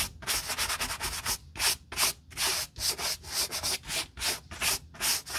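A bristle brush with a wooden back scrubs dry mud off the toe and side panel of a hollow black DC work boot with a textile and nubuck upper, a rubber sole and its laces removed, held in a gloved hand. A rapid series of bright, dry scratchy strokes follows, each a short rasping hiss separated by brief gaps.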